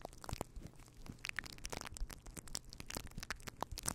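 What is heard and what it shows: Fingertips of both hands rub and scratch a fluffy faux fur windscreen on a microphone. A dense run of crunchy, crackling scratches flickers from a deep muffled rumble up to bright crisp tips. The quiet close-up texture keeps going with no pauses and no ring after each scrape.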